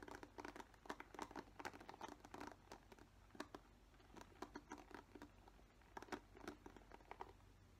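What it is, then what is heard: Plastic paddle hairbrush bristles scratched. Fingernails scratch across the green-tipped plastic bristles of a black plastic paddle hairbrush. The result is a quiet run of dense, dry crackling and ticking scratches that come in clustered bursts with brief pauses, centered in the midrange. Each tick stops almost instantly, over a faint steady low hum.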